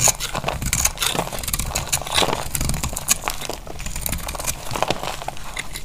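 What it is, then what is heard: Dry soap bar. A utility knife blade cuts and scrapes a solid, dry beige soap bar held in the palm, breaking off crumbly flakes. The sound is a steady run of dry, crackly scraping and crunching with bright, crisp edges and quick, short-lived bursts.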